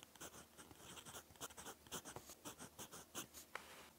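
A gold-decorated fountain pen nib writes black-ink strokes on a lined cream paper notebook page. Soft, quiet scratching comes in short, bright bursts of nib against paper, with a sharp tick near the end.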